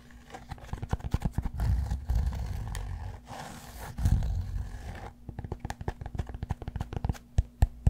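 Fingertips and nails scratch and tap the flat face of a solid cork yoga block held beside the mic. Quick, dull taps open and close the clip, with a dense, rumbling, bass-heavy scratching in the middle. The sound is deep and muffled with almost no brightness, and a faint steady low hum runs underneath throughout.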